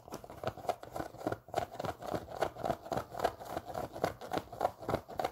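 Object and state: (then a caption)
Knit fabric sneaker. A hollow, empty pink Champion sock-style sneaker with a knit fabric upper and a foam sole is held in the hands and scratched with long pink nails. The result is a quick, uneven run of short, dry scratching strokes with a hollow midrange tone, each fading almost immediately.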